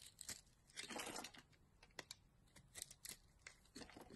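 A utility knife carves a solid green bar of soap, lifting strips and shavings off its surface. Quiet, crisp scraping and shaving strokes alternate with short, bright ticks and crackles, mostly high-pitched with little low end. The cuts come in uneven bursts with brief pauses between them.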